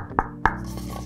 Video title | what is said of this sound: Don't Buy Ollie Dog Food Until You Watch This Review! | I think this is a really really hard plastic I do not think it's metal actually